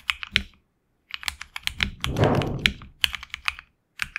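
Fingertips type continuously on a HyperX Alloy Origins Core tenkeyless mechanical keyboard with HX Red switches, PBT plastic keycaps on an aluminum plate, and a hollow case with a tape mod. Crisp, bright keystroke clacks centered around 2.3 kHz come in irregular bursts separated by short pauses. A dense flurry in the middle blurs together with a deeper, fuller thock underneath.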